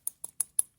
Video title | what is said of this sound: Aisle Drivers Orange, Purple and Blue- 2017, 2020, 2021 Hot Wheels Shopping Cart Ride-On Unboxings | Plastic. Sounds like metal because it's right on metal.